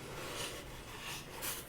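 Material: Nothing is struck.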